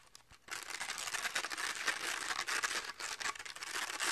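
Fingertips and short nails scratch and rub the purple and orange felt/velcro face of a round, hand-sized toy catch paddle with a pink plastic rim, held in both hands. After a quiet start, a fast, dense, bright crinkly scratching begins about half a second in and continues in uneven bursts to the end.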